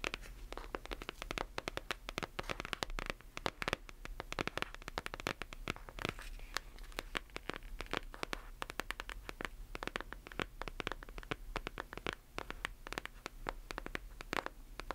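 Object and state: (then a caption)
Hardcover book tapped and scratched with nails. Long nails tap and scratch the back cover of a closed hardcover book held close to the microphone. Dense, rapid clicks and dry scraping with bright, crackly edges and almost no ring sit over a faint, steady low hum.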